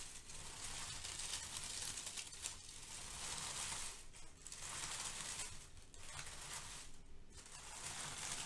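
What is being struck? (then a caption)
Crinkle-cut kraft paper shred filler. Long-nailed fingers gather and crush a pile of brown crinkle-cut kraft paper shred filler, making a steady, dense crinkling. The bright, hissy rustle runs nearly continuously, with a few brief dips between handfuls.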